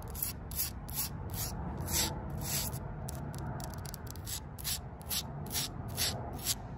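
Long purple nails and fingertips rub and scratch the rough surface of a square, solid concrete paving slab standing upright on the ground. Quick, gritty, hissy strokes repeat roughly twice a second over a steady low rumble.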